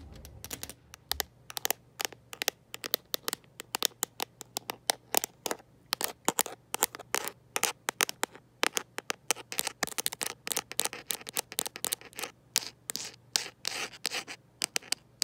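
A smartphone in a mint-green rubber and plastic protective case, held in one hand, is tapped and scratched by long nails fitted with metal paperclips. Quick, sharp, bright clicks and scratchy taps follow one another in an uneven stream, each dying away almost instantly, over a faint steady low hum.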